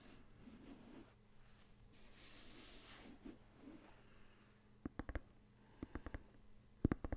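Fingertips rub and scratch the printed synthetic leather surface of an inflated, hollow soccer ball beside the microphone. First comes a soft, low, steady rubbing with a faint hum underneath. Then 11 short, sharp scratching taps follow in three quick clusters, each dying away almost instantly.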